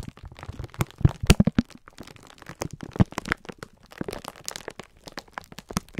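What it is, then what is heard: Plastic-wrapped pack of sponge scourers. A palm-sized multi-pack of green-striped 3M sponge scourers, sealed in thin clear plastic film and soft and full, is held in both bare hands while the fingertips squeeze and rub the crinkly wrapper. Dense, irregular crinkling and crackling pops come throughout, with sharp dry snaps and low thumpy weight from the squeezed pack. Short bursts of louder cracks stand out near the one- and three-second marks.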